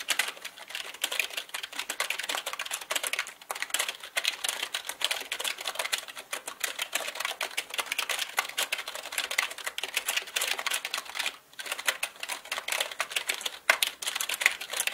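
Both hands type quickly with their fingertips on a black mechanical keyboard with plastic keycaps. The result is a dense, rapid stream of bright, sharp clacks with almost no low end. There is a brief lull around the eleventh second before the fast typing resumes.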